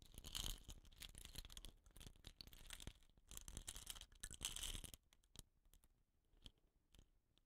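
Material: Bamboo.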